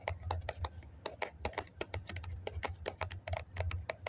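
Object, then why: Foam cup. Fingernails tap quickly on the side of a hollow white foam cup held in both hands. A rapid, uneven run of short, dry clicks with a bright edge rides over a low, muffled body. Each tap dies away almost at once.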